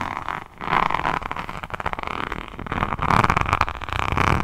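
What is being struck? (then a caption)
Resin rhinestone-covered hardcover notebook. A rhinestone-covered hardcover diamond painting notebook with a resin rhinestone cover is held close and scratched with long nails across its beaded cover. The result is dense, crackly scratching with rapid clicky textures and a midrange rasp that swells in two louder passes.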